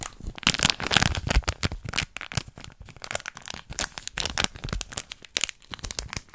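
A small, hollow, apparently sealed printed foil and plastic Shopkins Tasty Snacks packet is held in the fingers and squeezed and crinkled by long red-painted nails close to the mic. Rapid bright crinkles and sharp little crackles sound with almost no ring, in a dense, irregular run throughout.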